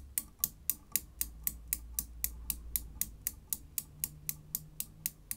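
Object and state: Steel Newton's cradle balls clicking.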